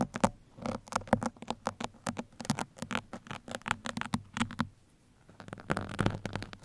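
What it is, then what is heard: Foam microphone windscreen scratched with pins. Steel pins are drawn and scratched into the sides of a black foam microphone windscreen with both hands. The result is a rapid run of short, dry scratchy strokes with a low, muffled body and bright edges. The strokes pause briefly near the five-second mark, then return as a denser, rougher scratching.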